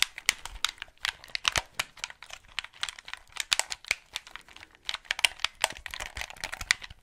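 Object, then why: Plastic game controller. Fingertips click the buttons and triggers and tap the hollow plastic shell of a white Xbox 360 gamepad held close to the mic. The result is a fast, irregular stream of dry, bright plastic clicks and taps with almost no low end and no ring after each hit.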